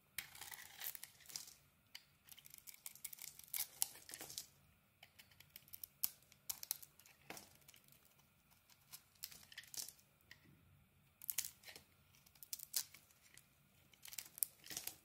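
A solid turquoise bar of soap with an orange core, held in the hand, is carved with a metal utility blade. Quiet, bright, crisp scraping and crackling shavings come in clusters of short bursts with brief pauses between strokes, and almost no low end.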